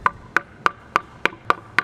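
Seven sharp knocks on a scooter deck made entirely of carbon fiber, each a short, dry, plastic-like tap centered around 1.2 kHz that dies away almost instantly. The deck is one continuous carbon piece rather than a welded metal deck with a wrap.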